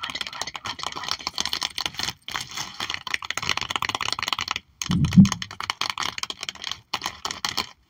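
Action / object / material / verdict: tap / album page in clear plastic sleeve / plastic / none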